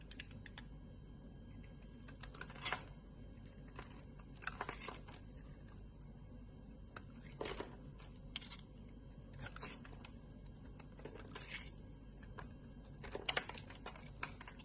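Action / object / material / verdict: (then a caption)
scrape / soap bar / soap / none. A solid red embossed bar of soap, held in a hand with long red nails, has its edge shaved and scraped with a utility knife blade, and chunks break off. Quiet, bright, crisp scraping and crunching bursts come at irregular intervals over a steady low background hum, each fading almost instantly.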